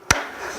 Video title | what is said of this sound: How to Assemble Our Raised Garden Beds - Part 2 | when you tap it, you'll hear a thud sound at the end when they're close together. Typically, you hear a hollow sound if there's a space